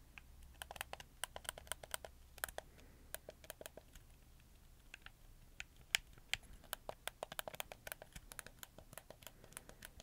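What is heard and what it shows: Fingertips click the shoulder buttons and face buttons of a black, hollow, hard-plastic PlayStation 4 controller held up close to the mic. About 35 quick, dry, bright plastic clicks come in an irregular, typing-like patter. Each click dies away instantly over a faint low hum.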